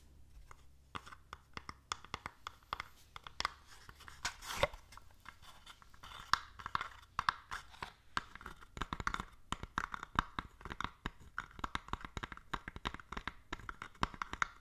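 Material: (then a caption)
Wood. A small hollow wooden stamp-set box with small items inside is held in both hands and tapped and scratched on its front panel with long fingernails. Quick, dry clicking taps mix with scratchy rustling, centered around 1.1 kHz with little ring, at a soft, steady level with occasional sharper accents.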